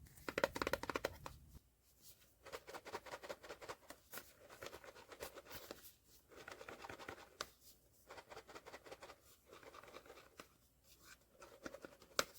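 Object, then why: Cardboard blind box with vinyl figure. A sealed cardboard POP MART SKULLPANDA The Sound blind box holding a vinyl figure is shaken and weighed. Bursts of dry, scratchy rattling and rustling come in several shaking bouts with short pauses, loudest at the start. Opening it afterwards confirms the box held the Grief figure.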